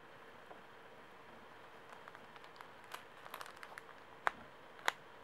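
A small, soft Kleenex pocket tissue pack wrapped in thin plastic film and full of paper tissues is held in both hands while fingertips and nails squeeze, scratch and crinkle the wrapper. Faint, scattered plastic crinkles rise over a quiet steady hiss and grow into sharper, brighter crackles. Two loud, crisp snaps of the film stand out near the end.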